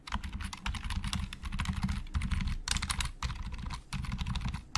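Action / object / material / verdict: tap / plastic computer keyboard / plastic / none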